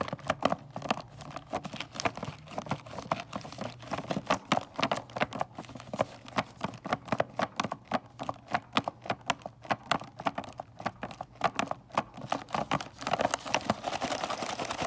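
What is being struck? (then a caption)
Cardboard box with plastic window. Long nails tap fast on a full cardboard box of mini candy canes, striking both its plastic window and the cardboard. The result is a dense run of short, dry clicking taps with a crisp midrange and a little bright edge, steady over the whole clip.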